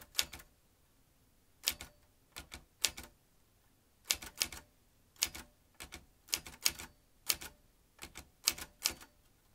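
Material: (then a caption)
Metal. Fingertips type steadily on the round keys of a vintage metal manual typewriter, the typebars striking in quick clusters separated by short pauses. Each strike is a sharp, bright metallic clack with almost no ring and little low end, heard against a quiet background.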